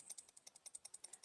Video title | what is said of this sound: FULL REVIEW - EMP EDC PULSE OTF!!! #love #edc | the blade is closed, there is a bit of a rattle side to side